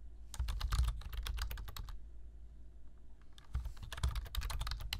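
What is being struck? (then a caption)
Plastic computer keyboard. Fingertips type steadily on a black plastic computer keyboard, tapping out quick bursts of sharp, bright key clicks. The typing pauses briefly midway before resuming at the same steady pace, over a constant low hum.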